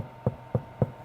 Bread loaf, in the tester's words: 이렇게 하면 빵이 완전히 익었는지 알 수 있어요. 그래서 아주 잘 익었다는 걸 알 수 있죠